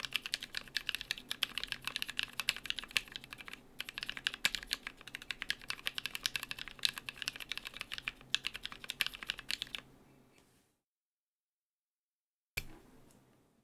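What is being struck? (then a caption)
Mechanical keyboard, plastic keycaps on aluminium plate. Fingertips type quickly on a compact BM43A mechanical keyboard with NK Cream switches, cream and brown PBT plastic keycaps and an aluminium plate. A dense run of short, bright, clacky keystrokes lasts about ten seconds, then trails off into near silence. A brief final burst of typing follows on the same keyboard.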